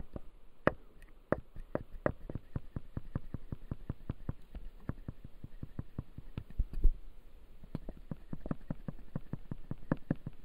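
Fingertips and short nails tap and scratch across the front teeth of a hand-sized typodont jaw model with clear acrylic gums and white resin teeth, resting on a light pad. A steady, rapid run of short, dry plastic clicks with almost no ring sounds over a faint scratchy texture. A louder knock stands out near the seven-second mark.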